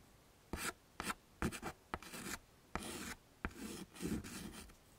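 A yellow chalk stick is scraped across a small, flat black chalkboard in a wooden frame to draw leaves. It makes a series of short, dry scratching strokes with bright, gritty edges and a few longer rubbing sweeps. Quiet pauses fall between the strokes.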